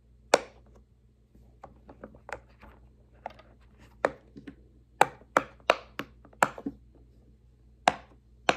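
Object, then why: Silicone pop-it fidget toy. Fingertips press the hollow bubbles of a large, square, rainbow silicone pop-it fidget toy lying flat on a wooden table, pushing them through one after another. Each press makes a short, dry, bright pop that stops almost instantly. The pops come at an uneven pace, some louder and some softer, with a faint low hum in the quiet gaps.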